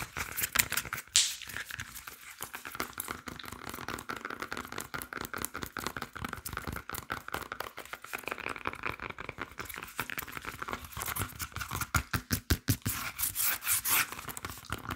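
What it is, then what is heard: Green plantain peel (scratched and tapped). Fingernails scratch and tap on the peel of a green plantain and on the sticker stuck to it. The result is a dense run of quick, dry clicks and crinkly scratches with bright highs and almost no ring. Sharper bursts of taps stand out near the start and again toward the end.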